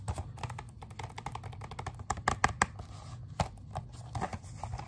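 Fingernails tap and scratch on the front of a plastic Xbox 360 game case turned sideways. Quick, light clicky taps run throughout, with a few louder, sharper clicks in the middle, over a faint low rumble.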